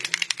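A spray ink bottle with a mixing ball is given a short shake so the sludge at the bottom is fully mixed before spraying. Five quick, bright rattles of the ball are heard inside the bottle, and the ink is mixed and ready to use.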